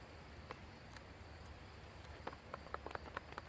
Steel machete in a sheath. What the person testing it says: you can hear that rattle and then there's rattle in all directions